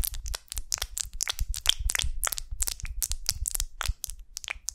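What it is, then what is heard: Beeswax honeycomb. Long nails scratch and tap the textured wax surface of a large golden beeswax honeycomb on a twig as it is held and turned. The result is a dense run of short, dry, crackling scratches and crisp taps, bright and crunchy at the top with soft low bumps underneath.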